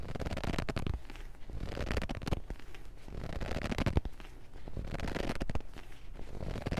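Fingers grip a thick paperback book with yellowed pages, riffling and scratching along the page edges and spine. Dense papery crackles and scrapes come in rolling waves over soft, low thumps from the grip. The sound stays close and quiet, weighted toward the low end.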